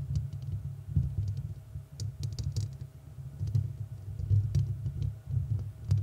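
Long red nails scratch the hollow, rounded metal mesh grille of a large studio microphone, at times with only one hand. The result is a dense, continuous low rumbling scrape with quick tapping textures, sprinkled with faint bright ticks and swelling and fading in loudness throughout.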